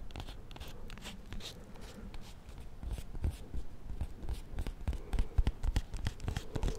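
Fingernails tap and scratch the white paper wrapper of a small solid bar of soap held close to the mic. The quick, uneven taps come about three times a second, with soft papery scratching between them. The dull, low thumps grow louder toward the end.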